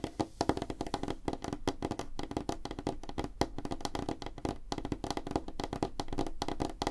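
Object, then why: Wooden tabletop. Both hands' fingertips and nails tap rapidly on a solid, flat, light-colored wooden tabletop, recorded up close. The result is a dense, continuous patter of short, dry knocks with a woody tone around 300 Hz, weight in the low end, and almost no ring or high sheen.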